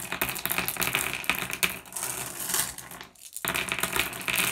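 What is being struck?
Pile of small flat glass gems raked on wood.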